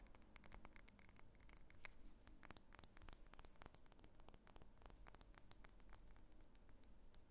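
Long nails tap and scratch along the wax sides of a medium solid pink wax pillar candle held in the hands. The result is a quiet, steady stream of quick, dry clicks and light scratchy rasps over a soft low background hum.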